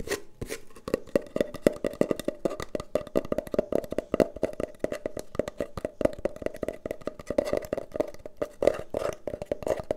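Long painted nails rapidly tap and scratch along a long, brown, hollow cardboard tube held horizontally. The result is a dense, fast stream of dry, hollow knocks with a mid-pitched resonant tone, each dying away almost instantly, mixed with brief scratching strokes.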